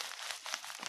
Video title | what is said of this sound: Home Blending and Thoughts on Churchwardens. Weekend Chat 11 February 2024 | you can hear just how crispy this is all this tobacco is bone dry